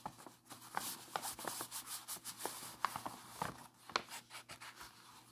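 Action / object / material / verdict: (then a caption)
scrape / thin paper sheet / paper / none. Fingertips and a palm rub and smooth across a large, flat, unfolded letter made of thin, aged sheet-music paper decorated with collaged floral and portrait cutouts, lying on a lace tablecloth. A soft, dry, bright rustling hiss swells and fades with each stroke, broken by short crisp ticks and crackles from the paper. The sound stays quiet and close throughout.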